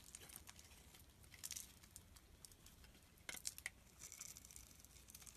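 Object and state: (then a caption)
Bar soap being shaved. A utility knife blade scrapes and shaves the surface of a solid red bar of soap held in the hand, and crumbs fall away. It is a quiet stream of bright, dry, crinkly scratching with short, sharp strokes. A few louder shaves stand out near the middle of the clip.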